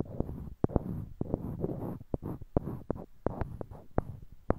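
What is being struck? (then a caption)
Small wooden blocks. Small, solid, light-colored wooden cubes are held in pairs in each hand near a binaural mic while fingertips click and knock one block against another. Quick, dry, irregular taps and knocks sound close up with almost no ring, over a low, soft rustle of handling.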